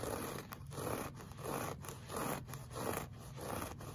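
A flat, beige, solid looped-pile woven fabric rug is scratched with the short fingernails of one hand in a clawing motion. The strokes make a repeated, dry, scratchy rasp that swells and fades in a steady rhythm, with a soft low rumble beneath.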